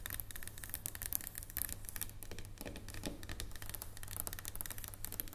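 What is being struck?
Dark chocolate bar.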